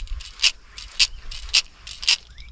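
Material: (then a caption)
Plastic. A plastic Machete 115SP wobbler lure is shaken so its fairly large rattle balls, part of a standard long-cast system rather than a magnet, rattle inside. Four sharp, bright clacks land about half a second apart, crisp and high-pitched with almost no low end, over a faint low rumble.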